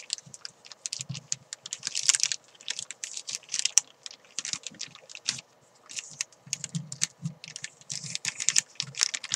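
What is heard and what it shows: Long nails scratch and crinkle a thin clear plastic bag holding a white chalk ball on a desk. Dense bursts of bright, crisp crackling and scratching come and go, with faint soft low thumps beneath and a brief quiet gap just past the midpoint.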